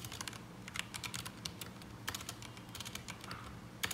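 Fingertips of both hands type continuously on a black mechanical keyboard with ABS plastic keycaps resting on a desk mat. Rapid, short, bright clacks and clicks come in uneven bursts, with a few louder key strikes standing out over a steady low background hum.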